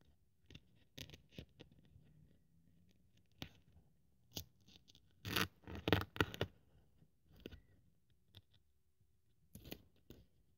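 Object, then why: Thin polyethylene foam sheet cut with a blade. A thin white polyethylene foam sheet resting on a wooden table is cut and scraped with a craft scalpel blade held by fingertips. Quiet, irregular scratchy scrapes and short crisp snips carry bright, high hiss. A louder cluster of rasping cuts comes around the middle of the clip.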